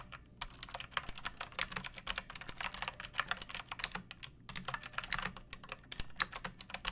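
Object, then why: Plastic mechanical keyboard. Fingertips with long painted nails type on a pink plastic mechanical keyboard with round keycaps and a hollow case, resting on a wooden surface. Quick, bright, clacky keystrokes come in steady bursts, each click dying away almost instantly. The typing briefly pauses at the start and again around the four-second mark.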